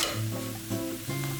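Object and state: Nothing is struck.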